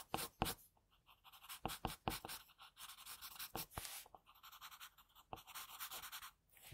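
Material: Paper.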